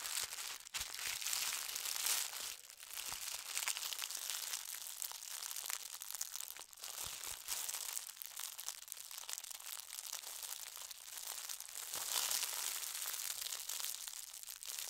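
Fingertips and nails press, fold and smooth a small folded bundle of white star-print tissue paper. The result is a steady stream of soft, dense crinkling and rustling, almost all bright, high hiss with no low end. Small swells of louder crackle come and go throughout.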